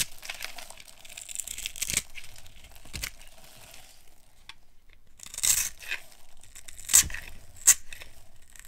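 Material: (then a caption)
Soap. A small metal blade scrapes and carves flakes off a solid, oval, pink bar of dry soap, textured from earlier scoring and held in one hand with long red nails. Soft, dry, crumbly scraping and crackling runs throughout, high and bright. It is broken by a few louder, crisp snapping cuts near the end.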